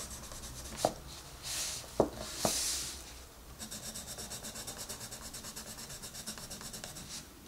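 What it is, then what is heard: Pencil coloring on a paper page. A green wooden colored pencil rubs and scratches across the page of an open paper coloring book lying flat, filling in color. Three sharp ticks and soft, bright swishes come first, then a steady run of quick, rhythmic, papery scratching strokes until the end.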